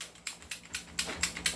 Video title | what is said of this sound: Review N Unbox of God Father 6.0, CZ Tactical Sports2, Glock 17&18 | Umakalog, umiingay, di ba? Tak-tak natin.